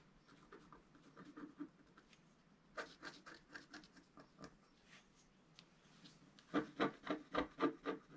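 A wooden stylus scrapes the coating off a flat black coated scratch art paper sheet resting on a table, moving in short, rapid strokes. The dry, raspy scratches come in a steady run, growing noticeably louder and sharper in the last couple of seconds.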